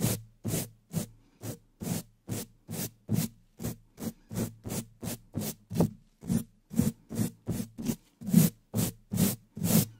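Stiff natural bristles of a wooden-handled dish brush, held in a black-gloved hand, brush and scratch fast strokes across the top of the black metal mesh grille of a large studio microphone's hollow dome. Each stroke is a separate, bright, raspy scratching burst over a low, boomy rumble. The strokes repeat in a steady, quick series with short silent gaps between them.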